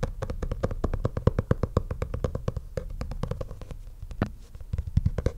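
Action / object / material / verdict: tap / leather portfolio cover / leather / none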